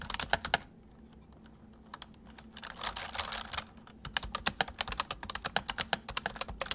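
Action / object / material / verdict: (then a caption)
tap / plastic mechanical keyboard / plastic / none. Fingertips of both hands type on a white full-size MSI plastic mechanical keyboard with hollow keys. A quick burst of sharp, bright clicks gives way to a brief lull and a denser patter, then a steady run of crisp keystrokes. Each click dies away almost instantly, with a faint low hum underneath.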